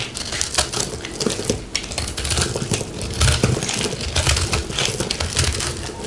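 A fist-sized, round, multicolored ball of pressed soap flakes is held in the hand and scraped and cut with a metal knife blade. It gives a steady, dense, crumbly crunching and crackling with bright, gritty scraping over a low rumble for about six seconds.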